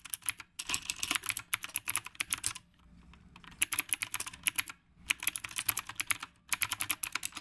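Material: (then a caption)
Plastic. Both hands type steadily with the fingertips on a black retro typewriter-style mechanical keyboard with round plastic keycaps. The result is rapid bursts of short, bright, clacky keystrokes broken by brief pauses, with almost no low end and no ringing after each press.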